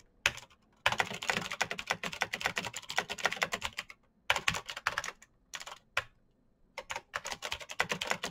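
Fingertips type fast on a black Razer BlackWidow mechanical keyboard with plastic keycaps on clicky green switches. Dense runs of sharp, bright clicks come in bursts, with short pauses near the start, middle and toward the end. Each click is crisp and dies away almost at once.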